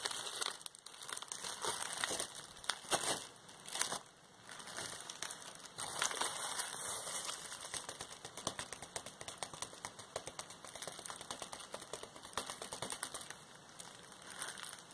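A clear plastic bubble wrap roll and sheet are crinkled and squeezed by hand. The result is a dense, continuous stream of bright crinkling and crackling that swells and fades across the clip, with almost no low end.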